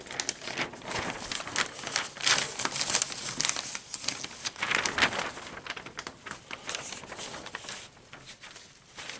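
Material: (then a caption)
Paper. Fingers grab and flip the thin pages of an open newsprint advertising section lying on a table. Frequent bright crinkling and rustling bursts rise and fall throughout, with little low-end weight, and the activity grows quieter toward the end.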